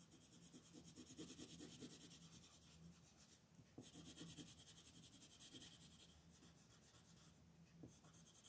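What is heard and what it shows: A red wooden colored pencil rubs back and forth across a flat white paper coloring sheet on a table, shading a beetle's shell. It makes a quiet, steady scratchy rasp with a bright, hissy edge and a faint low hum beneath, with the strokes rising and falling in a loose rhythm.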